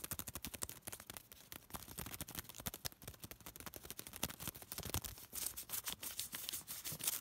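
A small piece of thin white paper is pinched, bent and crinkled between fingertips. Rapid, dense, bright crackles and snaps run continuously over about seven seconds, each very short with almost no ring, and the overall level stays quiet.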